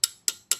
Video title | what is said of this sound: One Month. Lots of Mods. Zero Regrets. | you hear the difference? That's touching the crankshaft now.